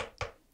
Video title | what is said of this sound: Canned Air Pen Cleaning and the Diplomat Elox! - Goulet Pencast Ep. 44 | I was expecting this to sound more like metal.